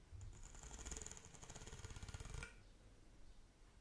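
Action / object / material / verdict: scrape / corrugated plastic pop tube / plastic / none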